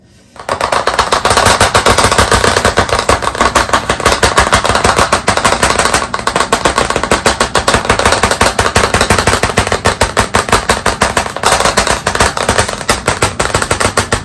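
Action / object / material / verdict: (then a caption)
tap / chalkboard panel in a wooden frame, tapped with chalk sticks / chalkboard / none. After a brief silence, the tips of two pieces of white chalk, one held in each hand, rapidly tap a medium hand-held flat black chalkboard panel, a solid board in a wooden frame, leaving chalk marks. The result is a dense, unbroken stream of sharp, dry clicks that run together like a rattling machine-gun patter, centred around 1.2 kHz. Each click decays almost immediately, and the level stays steady to the end.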